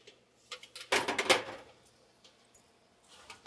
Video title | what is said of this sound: How to Make Portabella Phillys and Garlic Bread Waffle Fries - Rachael Ray | Listen to how crispy they are. Super duper crispy.